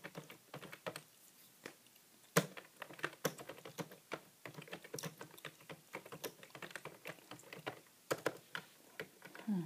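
Fingertips tap the plastic keys of a grey, hollow plastic computer keyboard in steady typing. Quick, light clicks patter irregularly, with a few sharper, louder strikes. The clicks are short and dry, with no ring.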